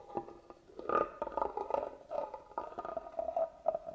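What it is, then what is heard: Carved wooden box being scratched. A small black tool traces and scratches along the carved pattern of a hollow, hand-carved wooden box held upright. The result is a run of quiet, uneven scraping rasps with a hollow, resonant mid-range tone that rings briefly under each stroke.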